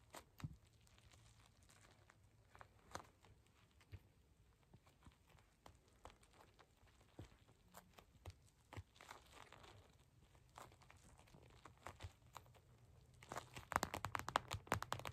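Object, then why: Gel bead eye mask in clear plastic. A glittery purple gel bead eye mask in clear plastic, lying flat, is tapped with long acrylic nails and fingertips. Quiet, irregular, sharp clicky taps with a faint crinkly plastic texture sound over a low steady hum. They grow denser and louder toward the end.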